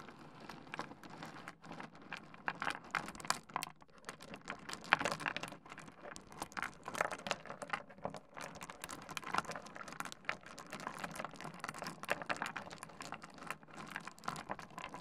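Fingertips rake through a heap of small, solid stone pebbles on a wooden desk, clacking the stones against each other and the wood. The result is a quiet, continuous patter of dense, bright clicks and rattles with very short decay and almost no low end.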